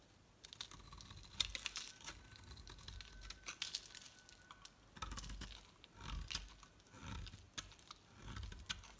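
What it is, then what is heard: Bar soap being shaved. A solid bright green Loles bar soap is shaved down with a utility knife blade until only a thin piece remains. Quick, crisp scraping clicks and crackles rise over a faint low rumble, with bright fizzing shavings and occasional fuller swells of scraping.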